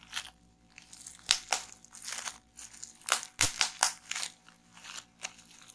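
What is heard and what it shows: A small roll of clear plastic bubble wrap is held and pressed in both hands while fingers pinch and pop the bubbles. Sharp, bright pops and crisp crinkling crunches come in an irregular series, each snapping off quickly with little low end.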